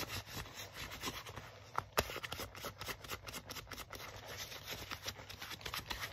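Fingertips and nails rub and scratch the forearm sleeve of a worn black leather jacket. The result is a quiet, continuous, crackly scratching texture with dense high-frequency rasps, punctuated by a couple of sharper clicks around the two-second mark.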